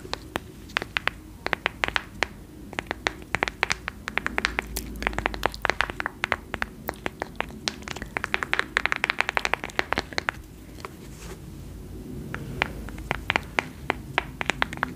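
Long nails tap and scratch the cover and spine of a large, solid white hardcover book with a cloth- or paper-covered board cover and a gold-and-black label. Rapid, irregular bursts of sharp, dry, bright clicks stop almost instantly, over a soft, continuous scratching hiss.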